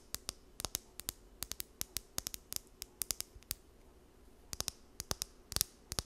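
Long nails run along and flick the teeth of a small, solid blue plastic comb held close to the mic. About thirty sharp, bright ticks come in quick irregular bursts, with a quiet pause near the middle. Each click stops instantly with no ring, over a faint low hiss.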